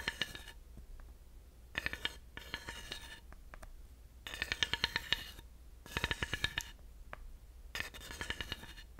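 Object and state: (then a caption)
Ridged wooden panel tapped and raked with a dowel. A thin wooden dowel taps and runs across the ridges of a flat, solid, grooved wooden panel. Short bursts of rapid, dry clicking ratchet along the grooves, with a bright tone near 2.9 kHz, separated by quiet pauses. Each tick dies away almost instantly.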